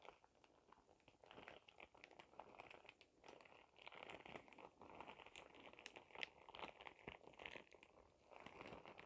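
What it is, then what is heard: Plastic shower cap. A clear, thin plastic shower cap with a cartoon print and glitter is crumpled and crinkled close up by fingertips with dark-painted nails. A dense, continuous crackle of sharp crinkles, bright and hissy with little low end, swells and fades in soft waves throughout.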